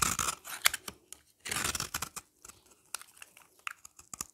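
A utility knife blade scrapes a hand-held, solid, oval yellow bar of dry soap, across its face and along its edge. It makes dry, bright, gritty rasps: two longer scraping passes and a scatter of short, sharp scratches and ticks.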